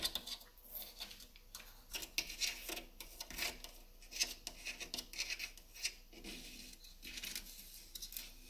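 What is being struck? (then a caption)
Driftwood stick wall sculpture. Long nails and fingertips tap and scratch the individual solid sticks of a wall-hung driftwood sculpture. The clip is a quiet, irregular run of dry, bright clicks and raspy scrapes, with almost no low end. Each touch dies away almost instantly.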